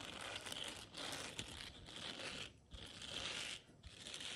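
Long nails scratch across the bristled surface of a round blue silicone scrubber pad, seen close up. The result is a dense, bright, crinkly scratching texture, broken by brief quiet pauses between strokes.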